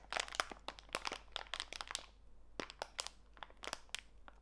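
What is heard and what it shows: A small clear plastic bag full of walnut pieces is squeezed in both hands, so the plastic crinkles and the nuts crunch. A rapid run of short, bright crackles fills the first two seconds, eases into a brief lull, then returns in scattered bursts. The sound is dry and crisp with very little low end and no ring after each crackle.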